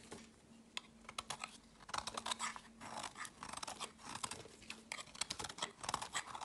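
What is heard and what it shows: A metal knife blade shaves small flakes off a solid translucent green soap bar held in the hand. The sound is a quiet run of crisp, bright scraping and crunching strokes with very little low end, over a faint steady hum.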